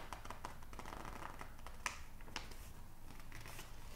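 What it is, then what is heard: Glossy paper magazine pages being rubbed. Fingertips rub and squeeze the thin pages of an open glossy psychology magazine printed with text, held up in both hands. Quiet papery rustling and soft crinkles run throughout, broken by small dry ticks and two sharper crackles.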